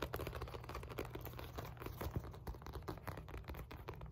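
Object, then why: Padded synthetic leather boxing focus mitt. A black synthetic leather boxing focus mitt, padded and hand-sized, is tapped and scratched on its surface and sides with long nails. Quick soft taps and dry scratching run in a steady stream over a low, muffled hum.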